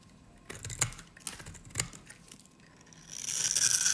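A metal utility-knife blade cuts and shaves small cubes off the end of a hand-sized, solid, peach-colored bar of dry soap held in one hand, and crumbled soap pieces fall away. Crisp, dry crunches and short, bright scraping cuts come in bursts over a quiet background. The sound ends in a louder, sustained high scraping hiss.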